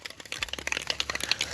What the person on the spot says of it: you hear that there's a marble in there